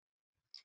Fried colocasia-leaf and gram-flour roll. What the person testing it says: आवाज पण कसा येतो असा कुरकुरीत आवाज येतो त्याचा